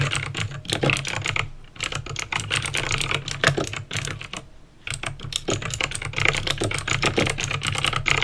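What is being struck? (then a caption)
Plastic mechanical keyboard with clicky switches. Fingertips with painted nails type on a backlit plastic mechanical keyboard with clicky green switches, producing rapid, bright, sharp clicks in fast bursts. Typing briefly pauses around 1.6 and 4.5 seconds, while a steady low hum sits underneath throughout.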